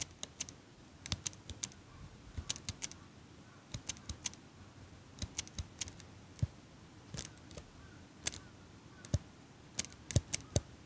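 A small metal eyelash curler held in front of a microphone has its handles squeezed and clicked by hand with long pink nails. About 37 sharp, bright metallic clicks come in irregular clusters, each dying away almost instantly over a quiet, low background hiss.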